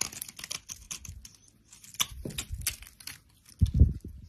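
A solid bar of brown soap held in the hand has its surface cut into small cubes and scraped off with a utility knife blade, and crumbly flakes fall away. Quick dry scratches and crackling crunches come in short bursts, with bright crisp edges over a soft low thud. A heavier crunch comes near the end.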